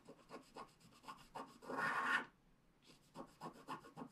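The wide end of a wooden stylus scrapes back and forth across a flat black scratch art card of wax-coated paper, removing the coating. Quick, rhythmic scratchy strokes are followed by one longer, louder rasping scrape. After a brief pause, the short strokes resume.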